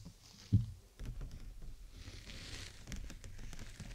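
Long nails tap the thin plastic canopy of a clear PVC bubble umbrella held over the mic, striking at the sides and top. One sharp, dull tap stands out early, followed by a steady patter of soft, low, quickly fading taps with a faint bright hiss in the middle.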